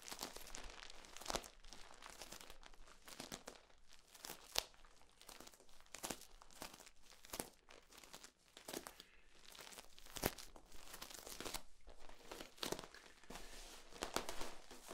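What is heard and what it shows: A hollow, ribbed, flexible yellow corrugated plastic tube is held upright, compressed and then extended while fingertips squeeze and crinkle it. The result is a steady, quiet run of dry crinkling and crackling with many sharp, bright clicks and snaps that die away almost instantly.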